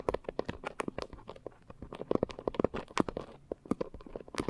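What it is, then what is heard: Foam scrub sponge scratched with nails. Long nails scratch rapidly over the porous top of a pink coarse foam scrub sponge. The result is a fast run of short, dry, crackly scrapes with a mid-range body and brief bright edges. Each scrape stops dead with no ring.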